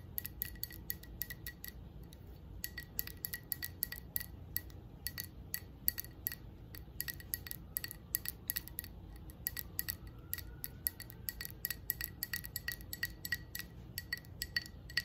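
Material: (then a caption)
Glass. Long acrylic nails tap rapidly on a hand-sized, hollow red textured glass candle jar with a lit candle inside. The taps give quick, bright clinking ticks with almost no ring, over a steady low background hum.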